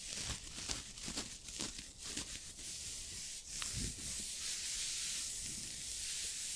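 Fingertips and short nails of both hands scratch and rub the chest of a soft, green knit turtleneck sweater worn on the body, in front of an untouched microphone. It makes a bright, scratchy fabric rustle in quick, uneven strokes that settles into a steadier, continuous hiss toward the end.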